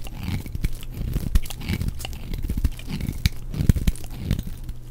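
A flat knife blade shaves and scrapes curled slices off a purple bar of dry soap held in one hand, with a pile of shavings nearby. A steady run of dry, crunchy tearing and scraping strokes is heard, each short and sharp with no ring, with a heavy low-pitched body and little bright content.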